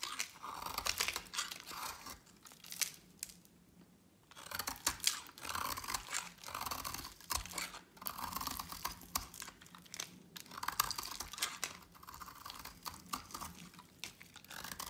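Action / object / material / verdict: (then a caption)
scrape / bar of soap cut with a blade / soap / none. A solid oval green bar of dry soap, held in a hand with long pink nails, is shaved and carved with a utility knife blade into curls and flakes. Bright, crisp scraping and crunchy cutting strokes come in quick bursts, with a short quiet pause near the four-second mark.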